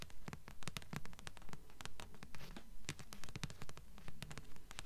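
Long fingernails tap and scratch the glossy card front cover of a thick blue paperback book, a solid paper block held upright. A quick, fairly steady run of crisp, dry taps with short scratchy strokes between them, each tap dying away almost at once over a soft low body.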